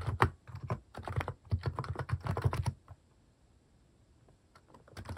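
A plastic mechanical keyboard with cat-themed keycaps is typed on with fingertips in a steady run of soft, low, thocky keystrokes. About three seconds in, the typing stops and the clip falls quiet. A few faint keystrokes return at the end.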